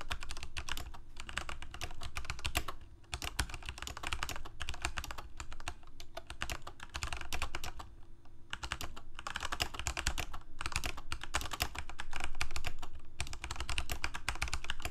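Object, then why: Plastic mechanical keyboard. Fingertips of both hands type on a backlit Corsair K68 full-size mechanical keyboard with plastic keycaps and Cherry MX Red switches, resting on a desk. Rapid, uneven bursts of bright plastic clacks run almost continuously over a low steady rumble, easing briefly near 3 and 8 seconds before picking up again.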